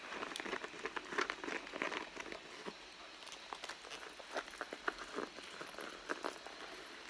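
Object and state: Leather handbag scratched and tapped.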